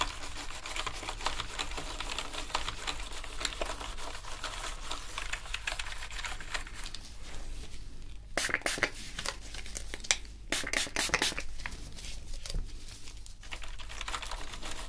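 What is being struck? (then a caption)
Plastic computer keyboard scrubbed with brushes. A black plastic gaming keyboard is scrubbed with toothbrushes, giving a steady dense bristly scratching with fast crackly clicks as the keys press under the pressure. Around the middle come a few brighter bursts of harder scrubbing, over a constant low hum.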